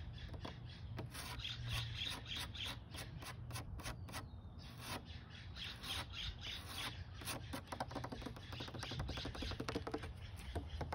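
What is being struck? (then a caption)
Wooden bench plank. Painted fingernails scratch and tap along the grainy surface of a grey, weathered, solid wooden plank on an outdoor bench. The result is a steady stream of dry, short clicks and raspy scrapes, with bird calls chirping in the background.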